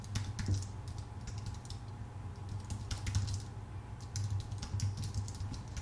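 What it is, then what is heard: Aluminum and plastic computer keyboard. Both hands type with their fingertips on a full-size white Apple Magic Keyboard with plastic keycaps on a thin aluminum body. Quick, light key clicks patter steadily in bright, crisp ticks over a constant low hum.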